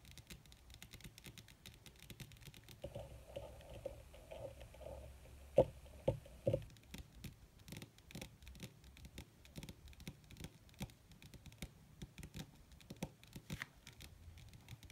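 Long red nails of both hands fast-tap and lightly scratch a wrinkled black leather sheet, possibly faux, lying flat. Quick, irregular, dry taps with short decay mix with soft scratchy rustling. A hum near 500 Hz runs from about 3 to 7 seconds, and the loudest taps come around the 6-second mark.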